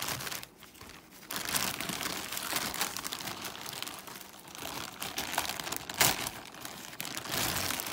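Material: Plastic film.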